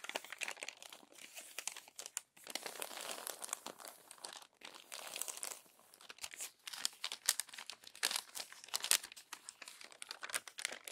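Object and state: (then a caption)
Glossy paper magazine being handled. A palm rubs the crumpled pages of an open glossy paper magazine flat, then the pages are lifted and turned. Dense, bright crinkling and rustling come in quick bursts with brief pauses, with almost no low end and sharp crackles that stop instantly.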